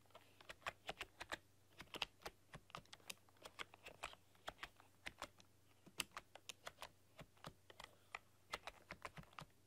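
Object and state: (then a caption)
Plastic computer keyboard being typed on. Long, dark-polished nails and fingertips type on a full-size plastic RGB-backlit computer keyboard with black keycaps and a rainbow backlight, pressing and clicking the keys. About forty quick, bright clicks come in an uneven typing rhythm, each dying away almost at once, over a faint steady low hum.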